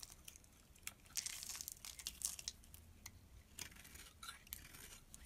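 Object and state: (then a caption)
Bar soap being shaved. A metal blade shaves flakes off the top of a small, solid blue bar of soap held in the hand, with a striped soap lying untouched nearby. Quiet, bright, crisp scraping and crackling comes in short repeated strokes, densest in the first half. There is almost no low end and each scrape stops dry.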